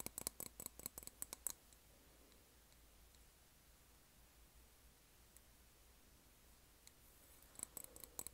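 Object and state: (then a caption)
Glass candle jar tapped with nails. Long nails tap the sides of a large white printed glass candle jar with a black lid, filled with wax and held in both hands. About twenty sharp, bright clicks with almost no ring come in a quick burst at the start and again at the end. A long quiet stretch with only a low hum sits between them.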